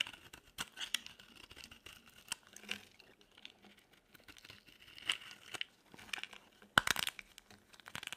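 A utility knife blade scrapes a dry, solid, pale yellow oval soap bar, producing quiet, bright, crumbly scraping and shaving sounds. The short rasping strokes are scattered throughout, with a louder scrape near the end and almost no low end.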